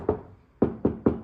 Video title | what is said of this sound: Tesla Model Y Noise cancelling / Sound proofing | now the knocking is completely different. It sounds solid compared to this side.